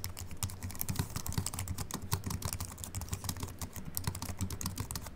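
A compact Apple keyboard with a silver aluminium body and white plastic keys, resting on a wooden desk, is typed on steadily with the fingertips of both hands. The rapid, dense keystrokes give short, dry clicks over a soft low thud, with little ring after each press.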